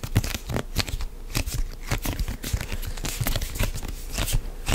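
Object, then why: Plastic lotion pump bottle. Fingertips and nails grip and rub a medium white plastic CeraVe moisturizing lotion pump bottle, hollow and apparently filled, held close to the mic. The result is a steady run of quick, dry scratching and crinkly rustles with short taps, heavy in low thuddy body and brightened by sharp high scrapes.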